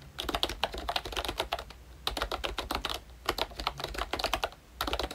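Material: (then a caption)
Plastic. Fingertips of both hands type on a pink plastic Mickey Mouse retro membrane keyboard with round black keycaps. Bursts of quick, dry, clicky taps with a bright edge are separated by brief pauses. A low hum sits steadily underneath.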